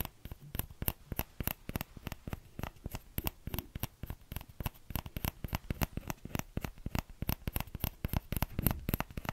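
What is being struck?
Small plastic ladle.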